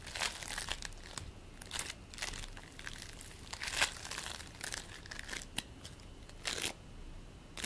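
A handful of purple and white polystyrene bead play foam is squeezed and kneaded in both hands over a plate with a few loose crumbs on it. The beads give off repeated bright, crinkly crunches and crackles in short bursts, with little low end beneath them.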